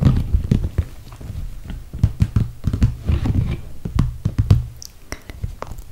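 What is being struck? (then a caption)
Soft PVC plastic toiletry bag. Long red nails tap on the top edge beside the handles of a full, clear soft PVC plastic toiletry bag. There are many short, dull, low thumps in quick irregular clusters, each dying almost at once, with a few faint brighter clicks between them.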